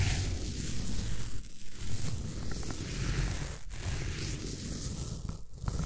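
A small derma roller with a metal-needle head is rolled across the top of a large, solid green floral foam block, scratching and crunching the foam surface. The sound is a steady, dense crackling scrape with a low rumble underneath, broken by a few brief dips.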